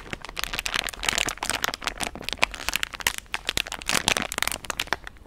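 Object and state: Soft plastic wet-wipes packet.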